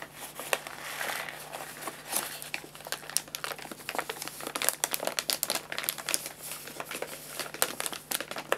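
Fingertips tap and rub a filled white paper bag of guinea pig food, then the bag is lifted and crinkled in the hand. The result is a dense run of bright, papery crinkles and crackles with many short, sharp snaps, almost no low end, and a faint steady low hum underneath.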